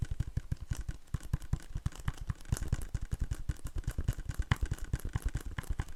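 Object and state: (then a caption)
Cracked plastic disc case. Rapid, uneven fingertip-style tapping on a cracked plastic Blu-ray case of the horror film "It" produces a dense run of short, low thuds with a faint rattle. A loose piece on the slightly broken case gives the taps a bit of ring, so they do not sound as clean as usual.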